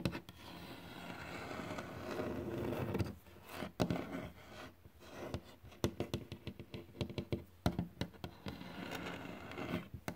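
Fingertips tap and scratch on a glossy, solid varnished wooden board, such as a sill or floor. Stretches of soft, dry scraping alternate with a rapid series of short, dull knocks that stop almost instantly, with most of the energy low to mid and little high brightness.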